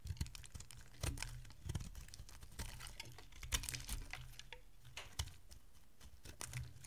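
A solid oval bar of dry green soap, held in the hand, is carved and scraped with a metal utility blade as shavings fall off. Quiet, dense, crisp scratching and clicking ticks come in rapid clusters, with a few sharper, brighter cuts standing out over a soft low rumble.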